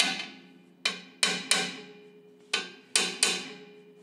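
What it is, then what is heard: Loose bolt. A hammer taps six times on the metal bolts of a Shinkansen train bogie in a test setup where one of four bolts is slightly loose, each tap a sharp, bright metallic ping with a short ring. A loose bolt gives a lower, duller sound than the high ring of a tight one, and turning it with a spanner confirmed the bolt was about 30 degrees loose.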